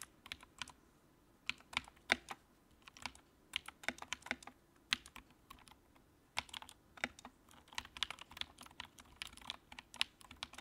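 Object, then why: Plastic mechanical keyboard. Fingertips of both hands type on a compact white plastic mechanical keyboard with a backlight, resting on a dark desk. Quick, bright, clicky keystrokes come in irregular bursts with brief pauses, each tap sharp and dry with almost no low end or ring.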